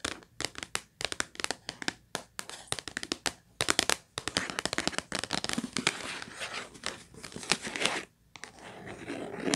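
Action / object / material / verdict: tap / cardboard tissue box / cardboard / none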